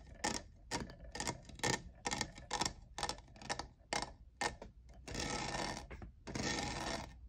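Fingernails tap the sides of a hollow, lavender, diamond-textured plastic cold cup, making a quick run of short, clicky hits with a bright ring around 1.8 kHz. Toward the end, the taps give way to two longer stretches of dense, rasping texture.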